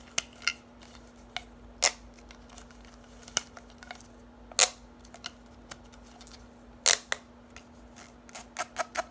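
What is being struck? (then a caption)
Bundle of plastic drinking straws. Long nails tap and scratch a bundle of hollow orange plastic drinking straws, making about fourteen sharp, bright clicks at an irregular pace over a quiet background. The clicks are short, with no ring after them, and a faint steady low hum runs underneath.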